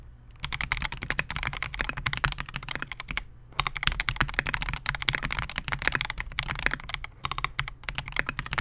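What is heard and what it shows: Fingertips of both hands type continuously on a compact 68-key Melgeek MOJO68 mechanical keyboard with Gateron G Silver Pro switches, a clear polycarbonate case and SA-profile plastic keycaps, resting on a desk mat. Rapid, short key presses give bright clacks over a low, hollow thud, with brief pauses near 3 and 7 seconds.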